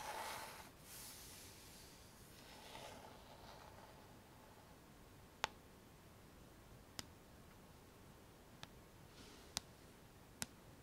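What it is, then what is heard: Plastic paddle hairbrush. A fingernail taps the hollow plastic back of a pink plastic paddle hairbrush. Soft rustling hiss fills the first few seconds, then five sharp, bright, dry clicks ring out, spaced apart over otherwise quiet background.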